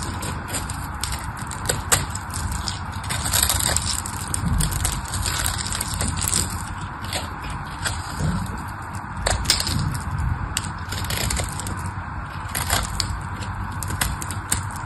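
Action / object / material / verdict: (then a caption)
scrape / bar of soap / soap / none. A solid pink bar of dry soap is scraped and carved with a craft knife, its flakes crumbling away. A steady, dry crackling scrape runs throughout, with frequent sharp, bright clicks and crunches over a low rumbling bed.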